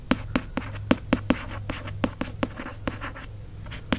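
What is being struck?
Cloth-bound hardcover book cover.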